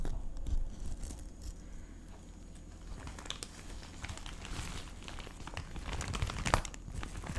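A hand-sized clear plastic cellophane gift bag with a red ribbon, wrapped around a gift, is held in both hands and squeezed and rubbed with the fingertips close to the microphone. It gives off continuous soft crinkling and crackling with brief bright snaps. The sound is louder at the start and near the end.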